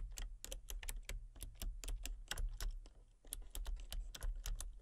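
Fingertips and long painted nails type rapidly on a full-size backlit plastic RGB computer keyboard with hollow key switches and colour-cycling lights. Crisp, bright clicks ring out over a steady low hum. The typing pauses briefly past the three-second mark, then resumes.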